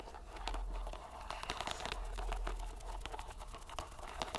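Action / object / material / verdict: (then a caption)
scrape / soft rubber stress ball in a string net / rubber / none. A fist-sized, soft purple rubber squishy stress ball, filled and bulging through a white string mesh net, is squeezed and kneaded by bare fingers and palm. It makes continuous crinkling, crackling and squelching textures with quick bright bursts over a steady low rumble. The sound stays fairly even, with no ringing after each squeeze.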